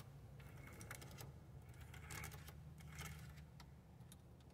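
Long acrylic nails tap and scratch along the display area and button row of a dashboard car radio with a hard plastic front panel and buttons. Quick, bright clicks and scratchy ticks come in loose clusters over a steady low hum, all at a quiet level.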